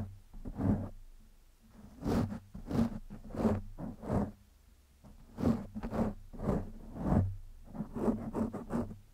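Fingertips and nails scratch and rub the surface of a black foam windscreen over a microphone. The result is a run of soft, close scratchy rasps that swell and fade one after another. Each has a low, thumpy body and a bright, airy hiss, with quieter gaps between.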